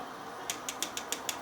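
A flexible plastic part from a Thunder Models 1:35 scale Scammell Pioneer model kit is tapped seven times, each giving a light, short, high-pitched tick over a quiet background. The part sounds soft and lacks a crisp crack, which is acceptable as long as it holds together.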